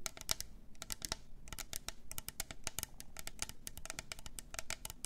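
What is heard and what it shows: Long nails tap quickly around the sides of a hollow, double-walled clear plastic tumbler with pink glitter, a lid and a straw. The result is a rapid run of short, dry, bright clicks with almost no ring, each dying away instantly.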